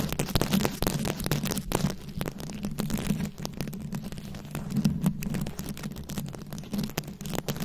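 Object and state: Rhinestone-covered microphone.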